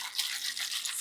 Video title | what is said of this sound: S1E12 - Shaken, Not Stirred | with ice as you can hear because you shake it